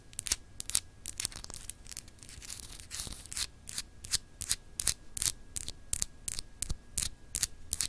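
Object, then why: Solid glass globe paperweight. Long acrylic nails on both hands scratch and tap a small, solid, clear etched glass globe paperweight. Quick, bright, crisp scratching strokes repeat in an uneven rhythm, with short raspy bursts that end almost instantly. A faint steady hum sits underneath.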